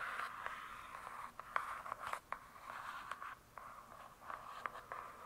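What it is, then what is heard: Hardcover book. Long nails scratch and tap on the glossy cardboard cover of a large closed hardcover book. A soft, steady scratching hiss sits in the mid-range, broken by sharp, quick taps that die away almost instantly. The whole clip stays quiet and close.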